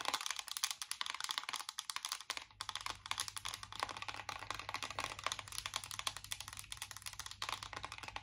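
Long nails tap rapidly on the raised squares of a closed, embossed metal chocolate-bar eyeshadow palette tin. The result is a dense stream of crisp, bright clicks with almost no ring, and from about two and a half seconds a low steady hum enters underneath.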